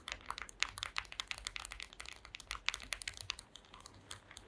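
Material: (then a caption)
Wood. Long green acrylic nails tap and scratch across a solid, flat woven wooden slat mat. The result is a quick, dense run of sharp, dry, bright clicks with light scratching between them. Each click stops almost instantly, with very little low end.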